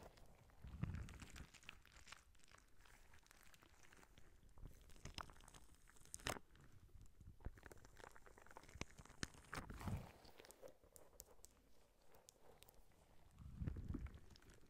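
A clear, soft rubber spiky squishy ball is squeezed in both hands while long nails scratch its spikes. The result is a dense run of quiet crinkly scratches and soft squishy crunches, with low thumping swells near the start, middle and end.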